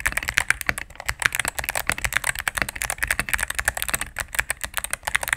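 A cream full-size mechanical keyboard with plastic keycaps on a solid plastic case is typed on rapidly with fingertips and medium-length nails. It makes a fast, steady stream of crisp, bright clacks centred around 1.6 kHz, with little low end. Each keystroke dies away almost instantly.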